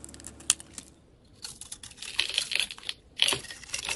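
A solid oval yellow soap bar with gold glitter, held in the hand, is scraped with a metal utility knife blade that flakes off shavings. Bright, crisp scraping and crinkly flaking sounds come in short bursts with sharp clicks, and the surface is shaved into curls.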